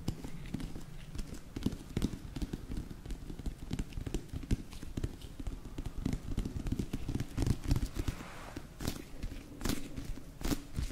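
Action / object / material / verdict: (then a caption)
tap / whole raw eggplant / eggplant skin / none. Long nails tap and scratch the smooth, glossy purple-black skin of a whole raw eggplant, solid and medium sized, held up close. The result is a steady stream of soft, dull, low thuds mixed with faint scratching, each tap dying away almost instantly, with a few brighter clicks near the end.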